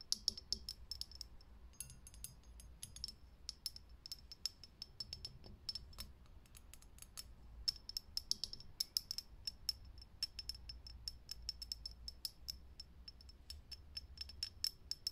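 Fingernails tap quickly on a lit, hollow, clear glass vintage filament light bulb, making dozens of crisp, bright clicks in uneven bursts. Each tap carries a short high glassy ping that dies away almost at once, over a faint low hum.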